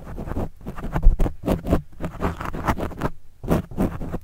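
A pen tip scratches across a black foam windscreen on a microphone, then a fingertip rubs it. The result is a series of close, muffled scratching strokes, heavy in low rumble with little high end, separated by brief quiet gaps.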